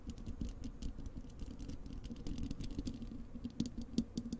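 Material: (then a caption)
Metal mesh. Long acrylic nails on both hands scratch rapidly across the bare, hollow wire-mesh metal grille of a large desktop microphone. The result is a dense, quiet stream of crackly scratches and light taps with a boomy, low body, a steady hum-like tone, and brief bright ticks that die away almost instantly.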